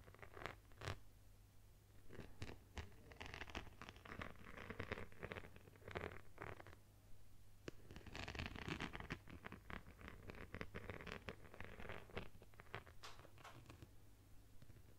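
Long nails scratch and tap across a phone in a plastic case covered with multicolored beads. The result is quiet, dense bursts of rattling, clicking scratches and quick taps over a steady low hum, rising and fading in waves throughout.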